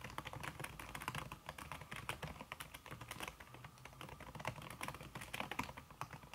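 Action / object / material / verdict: tap / aluminum keyboard with silicone key cover / silicone / none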